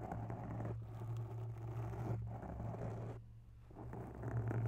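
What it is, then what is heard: Foam microphone windscreen. Long bare nails of one hand scratch and tap a grey foam microphone windscreen up close. The result is soft, rough scratching and rustling over a steady low hum, easing briefly before building back up at the end.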